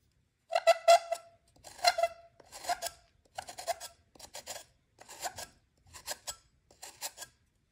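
A metal knife blade scrapes and cuts the edge of a solid white magnesium carbonate gym chalk block held over a glass bowl full of chalk powder. Eight short rasping scrapes come in bursts, each with a squeaky, harmonic tone around 680 Hz and bright upper overtones, fading quickly with almost no low end.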